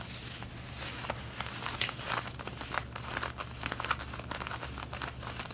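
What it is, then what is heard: Denim jeans being scratched. Long red-painted nails scratch the front waistband of light blue denim jeans being worn, producing dry, bright, crinkly rasps in quick repeated strokes. A steady low hum runs underneath throughout.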